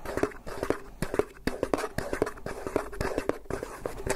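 A round, white, medium-sized hollow plastic food tub with a snap-on lid is scratched and tapped on the lid top with fingertips and nails. The result is a busy, irregular stream of short, dry clicks and taps mixed with soft scratching. A faint hollow tone rings through the taps.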